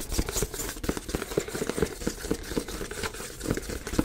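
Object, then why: Cardboard box. A medium-size black printed cardboard box for a Yeti microphone is held in the hands and tapped and scratched with fingertips and nails. Quick, irregular taps land as dull, hollow thuds with a low-mid body, mixed with dry papery scratching. Each tap dies away almost at once.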